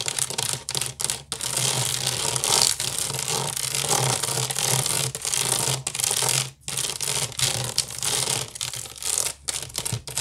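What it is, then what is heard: Wicker basket scratched. Long nails scratch and tap fast across the weave of a large, hollow woven wicker basket resting on a table. The result is a dense, bright, rustling scratch with quick, crisp taps, broken by a few brief pauses, over a faint steady low hum.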